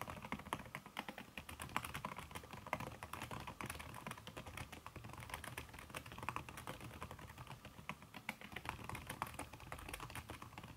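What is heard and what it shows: Fingertips with long red nails type fast on a backlit aluminium laptop keyboard covered with a red silicone key cover. The result is a steady stream of soft, dense tapping clicks with brief, bright ticks and a muted low thud underneath.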